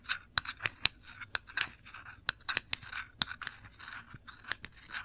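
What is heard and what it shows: Long nails scratch across a small glass jar full of cranberry jam, held sideways, and across its ridged black metal lid. The result is a quick series of dry, bright scratches and sharp clicks that stop dead with no ring, with soft raspy strokes between them.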